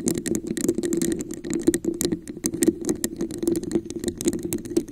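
A red translucent plastic cup with a raised scale pattern, hollow and empty, sits upside down over a microphone while long acrylic nails tap and scratch its textured sides. The result is a dense, continuous run of quick clicky taps and scratchy rattling. A hollow midrange resonance near 330 Hz sits under bright, crisp clicks.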